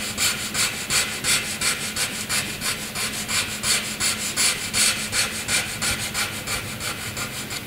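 A graphite pencil is scratched across a flat white sheet of drawing paper in repeated dense shading strokes. The strokes come in a steady rhythm of about three per second, each a bright, hissy scratch with little low end.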